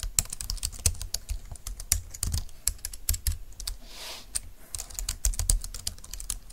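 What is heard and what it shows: Fingertips and long nails type rapidly on a compact, thin, dark-green plastic Bluetooth keyboard lying on a desk mat. The result is a fast, uneven stream of short, dry key clicks with bright tops and a soft low thud under each press. A brief, quieter stretch of hiss comes around the middle.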